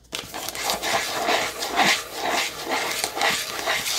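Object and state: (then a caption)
Cardboard box scratched with nails. Long nails scratch the sides and top of a small rectangular white cardboard box held in the hands. Bright, dry rasping strokes repeat in uneven waves, about two per second, with almost no low end.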